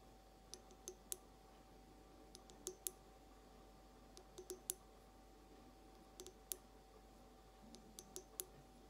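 Long acrylic nails slowly tap the rounded base of a clear, hollow, empty glass carafe vase. About seventeen short, bright clicks come in loose clusters of two or three, each dying away almost instantly over a quiet background with a faint steady tone.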